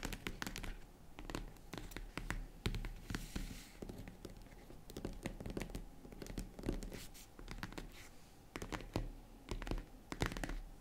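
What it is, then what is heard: Faux leather jewelry case being scratched. Long red nails scratch and tap across the grained top of a small tan faux-leather zippered jewelry case. Quick dry scratches and soft clicks come in uneven bursts with brief pauses. The sound is muffled and low-heavy, with a little bright crackle and almost no ring.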